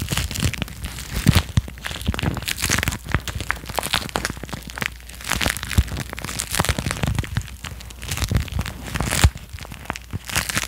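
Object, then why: Thin clear plastic wrapper. A thin, hollow, empty clear plastic wrapper is held close to the microphone and squeezed, crinkled and rubbed with fingertips and nails. Continuous crackly, crunchy crinkling fills the clip, broken by sharper bright snaps over a low rumble.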